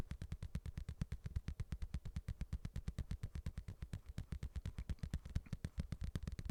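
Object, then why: Padded boxing glove. A padded boxing glove is tapped continuously in a steady, slightly uneven rhythm of about two taps per second. Around fifty soft, dull thumps are heard, each deep and muffled with almost no ring, followed by a quiet gap.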